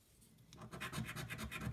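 A coin scratches the coating off a thin paper scratch-off lottery card lying flat on a white table, with one hand holding the card down. After a quiet start, a quick run of short, raspy back-and-forth strokes builds up, each with a bright papery hiss over a soft low rub against the table.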